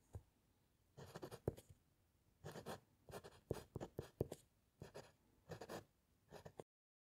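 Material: Paper, wood.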